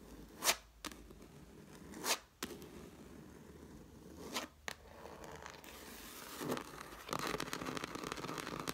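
Long black nails scrape and tap the cover of a red cloth-covered hardcover book lying flat. Short, bright, papery scratches and taps come in separate bursts, then turn into a steady run of dense, crackly scraping toward the end.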